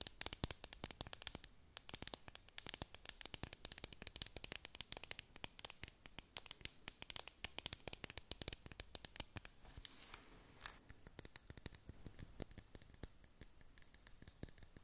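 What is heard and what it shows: Long nails scratch the sides of a clear plastic tumbler and then tap its clear dome lid, which holds pastel beads and a unicorn figure, up close. The result is a dense run of quick, dry, bright clicks and scrapes with almost no ring. A short hissy burst and a sharper tap stand out around the ten-second mark.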